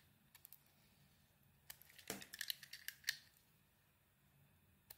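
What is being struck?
Bar of soap carved with a small metal blade.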